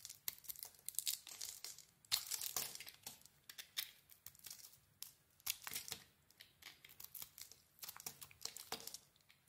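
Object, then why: Soap bar shaved with a metal blade. A small metal blade shaves a solid mint-green bar of soap with a cream core, peeling off thick flakes. The result is a quiet run of crisp, bright scraping and crackling strokes in quick, uneven bursts, with almost no low end and each stroke cutting off sharply.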